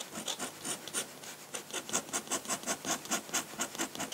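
A metal dip-pen nib, held in the fingertips, scratches across a large flat sheet of white drawing paper lying on a table while drawing ink lines. A rapid series of short, dry, bright scratchy strokes with almost no low end, growing more regular and rhythmic toward the end.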